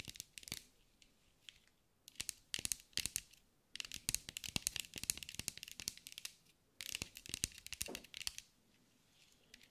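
A green mirrored glass mosaic sphere, held in the hands, is tapped and scratched with long acrylic nails. Bursts of rapid, crisp, bright clicks and scratchy ticks come in quick clusters with short pauses between them. Each tap dies away almost instantly, with very little low end.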